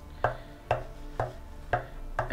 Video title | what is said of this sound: Claret Ash 3 Ways - Snack Bowls from One Tree - Canberra ACT Harvest | I've got a piece on this wood that I know is exceptionally dense, which is right here, and you can tell that because of all the way the grain runs. And it sounds almost identical.